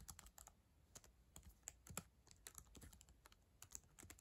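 Long acrylic nails type quickly on the plastic keys of a black ThinkPad laptop keyboard. The result is a quiet, steady stream of short, dry clicks and taps, with bright nail ticks over soft, low key thuds and almost no ring.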